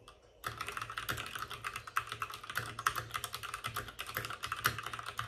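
Both hands type rapidly with their fingertips on the plastic keycaps of a white, backlit RGB mechanical computer keyboard resting on a desk with a padded wrist rest. After a brief quiet start, a dense stream of sharp, short clicks and clacks begins, with a bright upper edge and a clear click tone around 1.3 kHz. Each tap dies away almost instantly.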